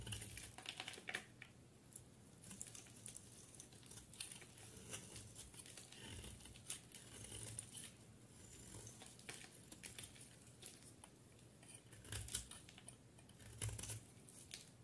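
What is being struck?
Soap bar shaved with a knife blade.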